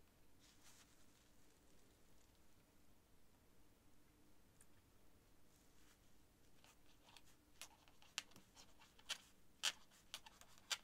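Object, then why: Quill nib on writing paper. A quill nib scratches across a sheet of thin cream writing paper while writing. Faint, soft scratching fills the quiet first seven seconds over a low steady hum. It then gives way to louder, sharp, bright scratch strokes toward the end.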